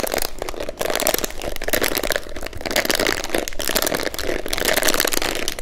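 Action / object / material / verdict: scrape / plastic hairbrush / plastic / none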